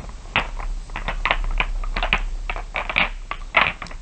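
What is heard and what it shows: Fingers with long nails rub and tap a pile of small solid glass marbles so they click together. It makes a steady run of short, bright clinks and rattles with little ring, some sharper clicks standing out, over a faint low hum.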